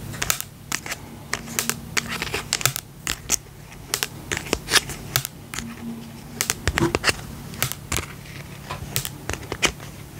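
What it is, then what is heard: Plastic slime tub being tapped. Fingertips and nails tap the lid and side of a small round pink and purple plastic tub with a lid, filled with slime. The result is a quick, irregular run of sharp, bright plastic clicks and taps that die away almost instantly, over a faint low hum.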